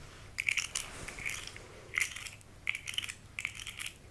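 A small rainbow segmented plastic articulated slug toy is held in both hands, and its segments are bent and squeezed with long red nails. This produces bursts of sharp, bright clicking and crunching, with a strong tone around 2.3 kHz and little low end. The clicks come in quick clusters separated by short pauses.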